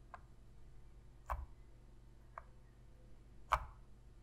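Long fingernails tap and click on the buttons and grips of a black hollow-plastic PlayStation controller. Four short, dry clicks sound over a quiet low hum, with the second and fourth louder and brighter than the rest.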